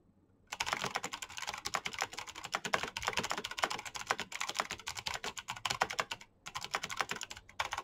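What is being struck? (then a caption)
Plastic mechanical keyboard with clicky switches. Fingertips type fast on a black plastic mechanical keyboard with clicky switches. A dense, rapid run of sharp, bright clacks starts after a brief silence, with a short pause near the end before the typing resumes.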